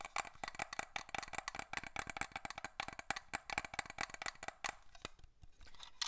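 A small, partly filled glass perfume bottle with a black cap is held in the hands and tapped with fingernails. A rapid, uneven run of sharp, bright clicking taps sounds with very short ring, a slight glassy tone around 800 Hz, and little low end. The tapping thins out and softens toward the end.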